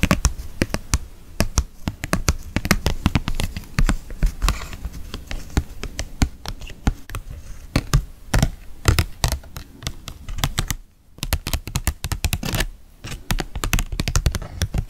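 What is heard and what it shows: Long fake nails rapidly tap and click on a green plastic ring-shaped lid from a pumpkin bucket, held by hand and bearing a paper label. The taps are short and dry, with a dull low body and bright clicky tips, coming in dense irregular bursts that pause briefly near the eleven-second mark.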